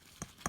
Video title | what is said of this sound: Russian/Soviet STSH-81 titanium helmet | Now, this is titanium. You can hear the tapping.